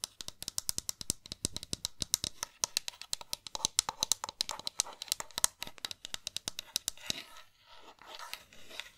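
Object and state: Plastic game controller.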